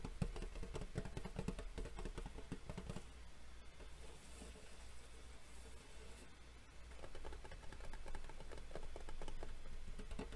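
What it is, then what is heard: Metal collector tin. Fingernails and fingertips tap rapidly on a hollow, rectangular, gold-embossed metal Yu-Gi-Oh collector tin while hands grip its edges. Quiet, dull, short taps come in quick bursts for about three seconds, fade to softer handling noise, then pick up again for the last few seconds.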